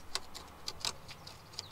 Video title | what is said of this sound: Carrosserie : soudure MAG | Quand ça craque comme ça là, et que ça fait ça, c'est que tu es bon pour découper.